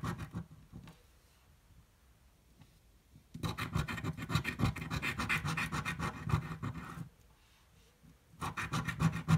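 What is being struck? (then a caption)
Coin scraping a paper scratch-off ticket. A coin scratches the coating off a thin red-green paper scratch-off lottery ticket held flat on a table. Short scratches at the start give way to a quiet pause, then a long run of rapid, fairly regular rasping strokes with a low body and bright gritty edges. After another brief pause, the scratching resumes.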